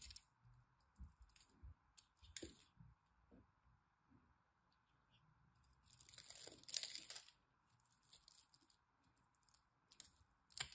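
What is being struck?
Solid bar soap.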